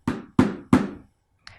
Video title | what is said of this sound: Arte - 1.º ano - aula 14 - 01/06 | vamos bater na bacia ... parece um som abafado